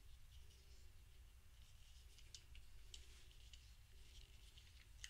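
A thumb presses and clicks the dark round button on top of a small grey hollow plastic fidget cube held in one hand. Soft, short, bright clicks sound over a steady low rumble, all at a quiet level.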